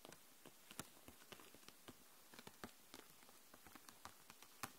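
Long nails tap and scratch across the plastic marker barrels in a clear plastic case full of markers lying flat. About seventeen quiet, short, bright clicks come at an irregular, patter-like pace, with light scratching between them. Each click dies away almost instantly.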